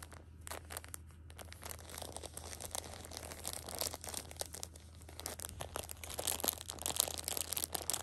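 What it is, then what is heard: Plastic-wrapped tissue pack being crinkled. Fingers pinch and scratch the plastic wrap of a pocket tissue six-pack, then a hand squeezes the edge to crinkle it. The result is a dense stream of bright, crisp crackles and short rustling bursts over a steady low hum, growing louder toward the end.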